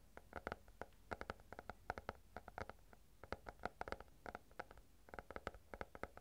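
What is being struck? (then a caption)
Stack of paper banknotes. A stack of paper banknotes is held close to the microphone and bent, crinkled and rubbed with the fingertips. It makes a quiet, rapid run of short, dry crackles and snaps with a papery rustle under them. The sound stays close and intimate throughout.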